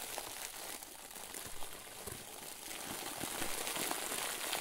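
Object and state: Plastic bag filled with soft stuffing.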